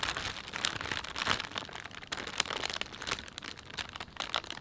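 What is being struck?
Thin plastic shopping bag.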